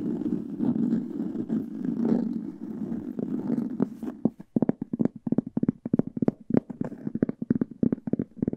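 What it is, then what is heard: Hardcover book cover. Long nails scratch across the textured printed cover of a large, old hardcover book held upright, making a steady, dry, papery rasp with a warm low-mid body. Midway the scratching gives way to a rapid, uneven run of short, crisp taps with a hollow knock.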